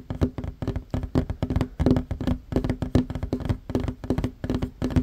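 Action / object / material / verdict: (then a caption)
tap / wooden tabletop / wood / none. Both hands fast-tap short fingernails on a flat, solid wooden tabletop. The result is a rapid, uneven stream of dull, knocking taps with a low, woody body and very short decay, bunched into quick flurries with brief gaps.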